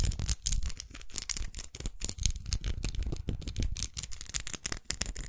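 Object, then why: Plastic lipstick case. Long acrylic nails rapidly tap and scratch a small red faceted plastic lipstick tube held horizontally with its end visible. A dense stream of quick, dry plastic clicks with a low, thumpy body and bright ticking edges, each tap dying away almost instantly, mixes with brief scratchy rasps.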